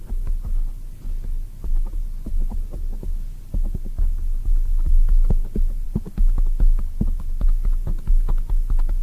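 Long acrylic nails on both hands tap rapidly on a black foam microphone cover. The result is a quick, uneven run of soft, muffled thumps with a deep, boomy weight, carried over a constant low hum.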